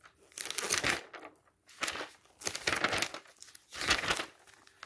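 A hand repeatedly turns the thin coated pages of an open glossy paper travel catalog. Each turn makes a bright, airy burst of paper flapping and crinkling, with short quiet gaps between the page turns.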